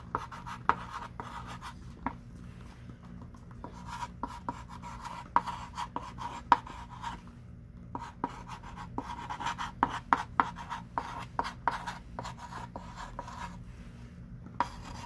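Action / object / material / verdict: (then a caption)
scrape / chalk stick on a wooden-framed chalkboard / chalk / none. A hand writes continuously with a thick stick of pink chalk on a small wooden-framed chalkboard lying flat. Quick dry scratching strokes and sharp taps come one after another over a steady scratchy band around 1 kHz, with a faint low hum underneath.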